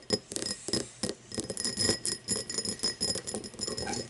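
An empty, hollow cut-crystal tumbler lies on its side while long nails tap and scratch across its facets and base. Quick, bright glassy clicks and scrapes follow one another with a steady high ring and very little low end.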